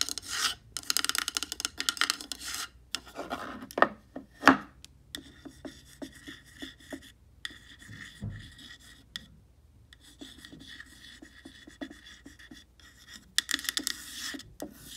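Long painted nails scratch and rub the grainy surface of a small, solid-looking black-painted wooden block with white lettering resting on a white shelf. Dry, raspy scraping comes in irregular bursts with a bright hiss and occasional sharper taps between quieter stretches of light rubbing.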